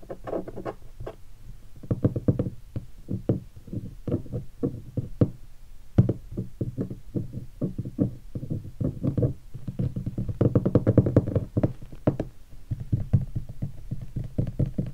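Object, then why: Leatherette-covered guitar hard case. Fingertips tap rapidly on a hollow guitar hard case with a black pebbled leatherette surface covered in vinyl stickers. The taps are dull, low, hollow knocks with a boomy body and almost no brightness. Each dies away quickly, in a steady, uneven stream with denser flurries.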